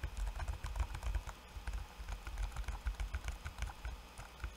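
Fingertips of both hands type quickly on a backlit laptop keyboard with plastic keycaps. The result is a steady, irregular patter of short, dry clicks, each with a soft low thud and a faint bright tick that dies away at once.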